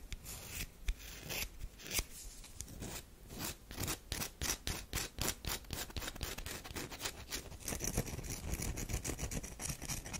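Long nails scratch and rub a solid oval tan bar of soap with a scored surface, held in the hands. Quick, uneven bursts of dry, bright scratching follow one another closely, with a soft low rumble underneath.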